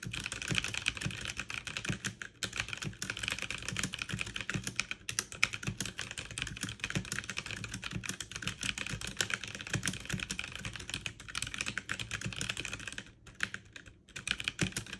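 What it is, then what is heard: Plastic mechanical keyboard. Fingertips with long nails type fast with both hands on a backlit mechanical keyboard with plastic keycaps. A dense, steady stream of bright, sharp clicks and clacks runs throughout, with brief pauses around 2 seconds and between 13 and 14 seconds.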